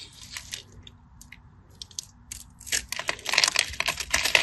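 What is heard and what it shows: A small metal blade scores a solid cream-coloured bar of soap, held in the hand, in a crosshatch pattern, and flakes crumble off the bar. Bright, dry scratching and crunching clicks come sparsely at first, then grow denser and louder toward the end. Each cut is short, with almost no low end and no ringing.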